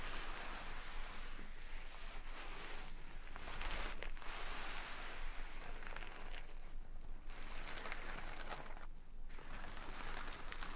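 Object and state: Burlap sack of rice.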